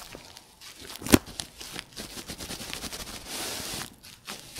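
Clear plastic bubble wrap is crumpled and squeezed in both hands, giving a stream of soft crinkling and crackling. One sharp, loud pop stands out near the one-second mark. A brighter, steady rustle swells for about half a second before the sound settles into quieter crinkles.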